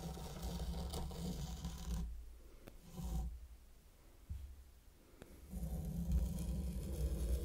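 A small wooden-handled mini rake is drawn through fine purple sand in a heart-shaped wooden zen garden tray, scratching wave patterns into it. The low, grainy scraping comes in longer strokes broken by short quiet pauses.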